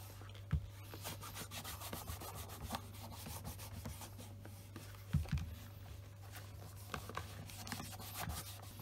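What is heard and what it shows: A Scotch Grain black leather wingtip shoe, held in the hand, is rubbed with a white cloth wrapped over the fingers along the upper and the side. Soft, steady cloth-on-leather rubbing and brushing continues throughout, with a few brief, sharper bumps over a constant low hum.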